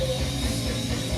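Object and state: Nothing is struck.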